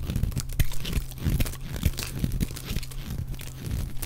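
A utility knife blade shaves and scrapes curls off the surface of a solid, dry, oval green bar of soap held in one hand, in repeated strokes. The strokes make a dense run of soft, crunchy scraping and tearing sounds, heavy in the low end, with brief louder crackles within a steady texture.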